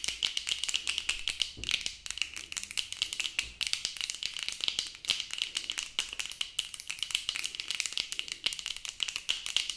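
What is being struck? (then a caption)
Plastic sunglasses frame and lenses. Long acrylic nails rapidly tap and click on the plastic frame and lenses of sunglasses worn on the face. The result is a dense, continuous stream of sharp, dry clicks that die away almost instantly. The sound is bright and thin, with a steady tone near 2.9 kHz and almost no low end.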